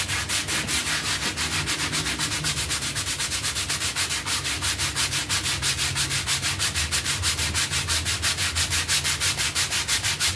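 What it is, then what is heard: Soapy textile pile rug being scrubbed. A bristle hand brush scrubs along the edge and surface of a dirty, soapy, half-round textile pile rug covered in foam. The strokes come in a steady, rapid back-and-forth rhythm, each a bright, hissy scratch with little low end.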